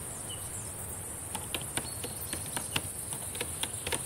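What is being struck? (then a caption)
Plastic laptop keyboard keys. Long painted nails and fingertips tap and type on the plastic keys of a black laptop keyboard, making about ten soft, short clicks starting after a quiet first second. The taps are quiet and dry over a steady high-pitched hiss and a low background rumble.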